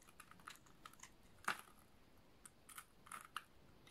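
The edge of a solid yellow oval bar of dry soap is shaved with a snap-off utility knife blade, shedding crumbly, crunchy flakes. Quiet, dry, bright crunches and clicks sound in an irregular series, with the loudest scrape about a third of the way in. Each one stops almost at once with no ring.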